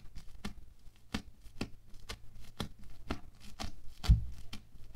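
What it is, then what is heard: Bead foam clay. A wooden stick jabs and pokes again and again into a flattened, solid, hand-sized patch of orange bead foam clay. Each poke gives a short, crackly, crunchy tap that dies away almost at once, mostly low and dull, over a faint steady low hum.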